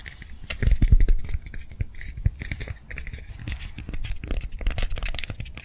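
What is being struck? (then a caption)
Soft foam lollipop toy. Long nails tap and scratch quickly over a hand-sized soft foam swirl lollipop toy held in both hands. The result is a dense, irregular patter of soft, muffled thuds, mostly low in tone, with faint bright scratchy ticks on top. A louder cluster comes near the start before it settles into a steady quiet rustle.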